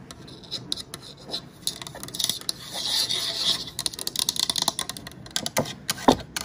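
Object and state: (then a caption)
Painted wooden sign. Long nails scratch and tap the lettered surface of a painted wooden layered "Welcome My Pretties" sign made of solid flat boards. Bright, rasping scratches mix with quick, dry taps, building to a sustained scrape in the middle of the clip. The clip ends on a louder tap.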